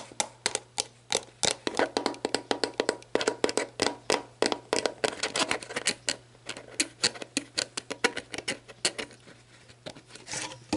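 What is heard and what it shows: Long black nails tap rapidly on the orange plastic cap and shoulder of a clear plastic sports drink bottle lying on its side, hollow and mostly empty with water droplets inside. The result is dozens of quick, dry, bright clicks with almost no ring, irregular in spacing and loudness, over a faint steady low hum.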